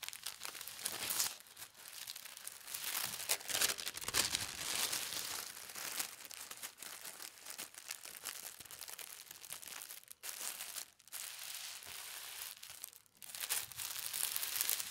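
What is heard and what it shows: A single leaf-print tissue paper sheet is folded by fingertips into a smaller rectangle, with the folds pressed and smoothed flat. A steady, dense crinkling fills the clip, thin and bright with almost no low end. It breaks into brief quiet pauses around the 10- and 13-second marks before the rustling picks back up.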